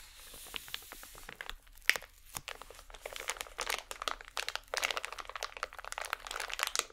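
A small striped holographic plastic packet is crumpled and squeezed by both hands with long nails. The sound is a dense run of quick, bright crinkles and crackles, mostly high-pitched with almost no low end. It starts with a faint hiss and builds into busier bursts toward the end.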